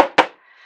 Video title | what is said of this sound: Watercolour Panel Demo | it's totally dry, you can tap it, and it sounds like a drum